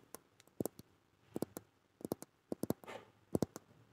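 Long manicured nails tap and scratch a medium, flat, blue hard-covered notebook or folder (its cover probably plastic-coated board) held upright beside the microphone. About sixteen short, dry, clicky taps land in quick pairs and clusters with a hollow, low-mid knock. A brief, brighter scratch sweeps across the cover just before the last cluster.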